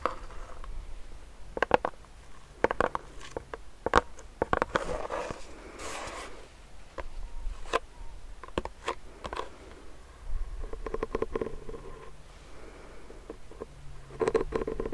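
A medium clear plastic hand sanitizer pump bottle filled with gel is tapped and scratched with fingernails. Sharp, dry clicks are scattered among soft scratchy rustles, with bursts of quick tapping and brief hollow, low resonances.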